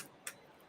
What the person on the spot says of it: this sounds like metal it doesn't sound like plastic